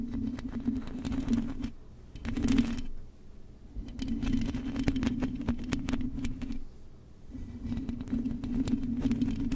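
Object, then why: Metal mesh microphone grille. Long acrylic nails on both hands scratch across the hollow metal mesh grille of a silver microphone. A dense, rasping scratch with a low buzzing hum around 240 Hz runs in bursts, broken by short pauses and dotted with fine clicks and taps.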